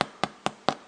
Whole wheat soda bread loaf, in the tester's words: we want a nice hollow sound and that sounds good